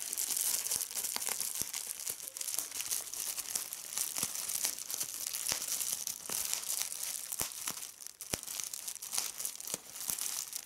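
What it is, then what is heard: Plastic bubble wrap. A clear plastic bubble wrap sheet is pinched and squeezed between fingertips with red-painted nails, popping individual air bubbles and crinkling the film. Heard up close, a steady, bright, hissing crinkle is broken by many sharp, dry pops that stop instantly, with almost no low end.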